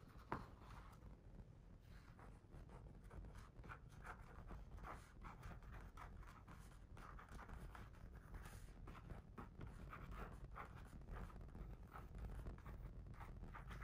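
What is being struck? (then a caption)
Hardcover picture book cover. The last page of a hardcover picture book is turned and the book is closed with a soft thump, then a fingertip traces across its glossy back cover as it lies on a rug. Quiet, repeated scratchy strokes sit over a steady low rumble, each brief and dry with no ring.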